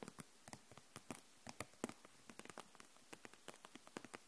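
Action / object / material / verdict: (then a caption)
tap / plastic felt-tip markers in a plastic package / plastic / none. Long nails tap the barrels of a row of plastic felt-tip markers held upright in a clear plastic package, making 22 quick, dry, light clicks at an uneven pace. Each tap is short and bright with almost no ring, over a quiet background.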